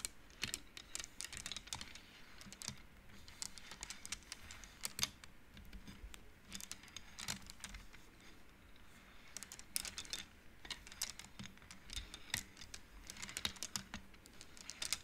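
Both hands with long nails slide painted wooden beads along the metal rods of an upright wooden-frame abacus, and the beads click against each other. The clicks are bright, quiet and short, coming in quick, irregular bursts over a low, steady hum for the whole clip.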